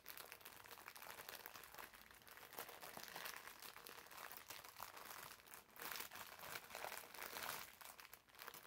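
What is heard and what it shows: Fingers squeeze a green foam bath sponge wrapped in clear plastic film and pull at the loose wrapper ends. The plastic gives off a steady, quiet, bright crinkling and crackling with almost no low end, swelling in brief louder bursts throughout.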